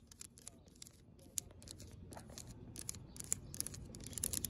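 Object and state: Coated expanded-metal bench, scratched and tapped.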